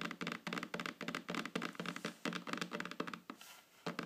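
Long fingernails tap rapidly on the solid, flat surface of a wooden tabletop. The result is a quick, irregular run of short, dry clicks with a bright edge and a low wooden knock beneath, each dying away almost at once. The tapping eases into a quieter pause before a few final taps.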